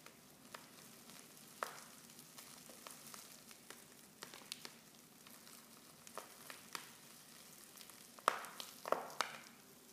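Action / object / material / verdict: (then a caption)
scrape / foil tea pouch with loose tea leaves / foil / none. Fingers with long nails crinkle a silver foil Pickwick tea pouch, half full of loose tea leaves and open at the top. Soft, steady rustling is broken by sharp, bright ticks and snaps. A few louder crackling bursts come near the end.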